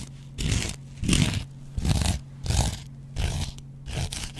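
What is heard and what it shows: A metal double-edge razor blade scratches a hand-sized, dry, yellow cellulose kitchen sponge with a scouring pad. Six rough, crunchy scraping strokes come in a loose rhythm, each with a hissing bright edge over a strong low body. A steady low hum runs underneath between the strokes.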